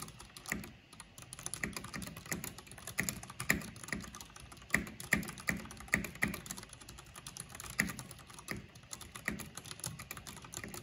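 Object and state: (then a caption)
Plastic mechanical keyboard being typed on. Fingertips and long painted nails type quickly on the keycaps of a full-size black plastic backlit mechanical computer keyboard with purple RGB lighting. The rapid, uneven stream of short clicky taps has a low thump and a bright click on each keystroke. Every tap dies away almost at once, with a few keystrokes landing harder than the rest.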